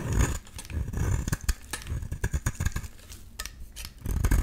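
A solid pink rectangular bar of soap held in the hand is shaved into curls with a metal utility-knife blade. Soft, crisp scraping strokes and short clicky cuts repeat over a low, dull rumble that swells at the start and end.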